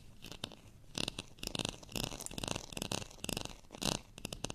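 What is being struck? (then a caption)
Ridged plastic rice paddle. Fingernails scratch the bumpy face of a beige, ridged plastic rice paddle with a handle. The result is a series of dry, bright rasping bursts with a crackly, gritty texture, separated by brief quieter gaps.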